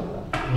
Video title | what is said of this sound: Lawatan tapak sekolah daif di negeri Sabah bagi tahun 2019 | Kalau kita ketuk, berisi lah.